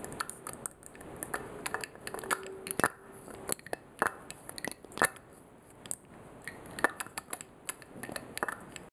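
Fingers lift the glass stopper from a clear, faceted crystal perfume bottle and clink it back into the glass neck, again and again. The result is a quiet run of sharp, bright glassy taps and clicks that die away almost instantly, with small scraping rubs of glass on glass between them.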